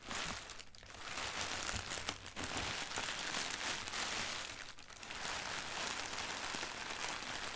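A large crumpled sheet of thin white tissue packing paper printed with black doodles lies on carpet while long dark-red nails and fingertips scratch, press and crinkle it. Continuous bright, dry crinkling and rustling fills the clip, with brief dips in loudness between handling bursts.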